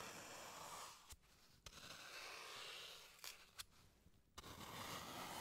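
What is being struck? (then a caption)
Green floral foam block. A solid green floral foam block, held in gloved hands, is carved and scraped with a small blade tool. Steady, bright, hissy scraping fills the clip, dropping into two quieter stretches marked by five sharp clicks as the blade catches and releases.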